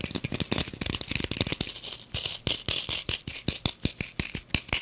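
Long nails rapidly tap and scratch the surface of a green floral foam brick wrapped in clear plastic, held upright in front of the microphone. A fast, dense run of crisp, crinkly taps with bright plastic rustle and a low thump under each hit gives way to more spaced, sharper taps in the second half.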